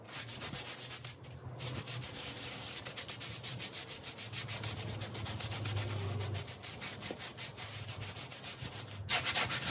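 A handheld bristle brush scrubs a small, dirty, patterned woven textile rug that lies wet and foamy on the floor, while the other hand rests on the rug. Rapid, uneven back-and-forth strokes make a steady bright, hissing scrub over a low hum. The sound ends with a louder, brighter burst of brushing.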